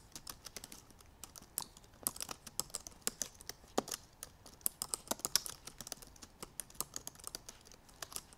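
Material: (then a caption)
Plastic. Long purple nails tap the black plastic keys of a silver aluminum MacBook Pro keyboard while typing. The result is a quick, uneven run of short, bright clicks with almost no ring or low end, over a quiet background.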